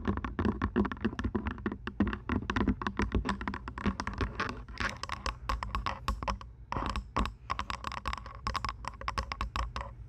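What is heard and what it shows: Long nails tap the plastic headband of lavender plastic over-ear headphones resting on a binaural microphone, then tap and scratch the hollow earcup shells. A dense run of quick, hollow clicks and taps with low body and bright edges, interspersed with short scratchy rasps, continues steadily throughout.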